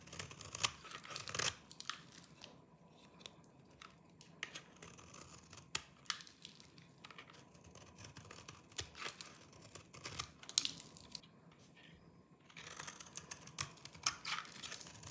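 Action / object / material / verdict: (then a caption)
scrape / soap bar scraped with a small knife / soap / none. A small knife with a yellow-tan blade shaves and scrapes the surface of a hand-sized solid bar of dry green soap held in one hand, and crumbly flakes fall off. The result is bursts of bright, dry, crunchy scraping and tearing-like sounds separated by quieter pauses.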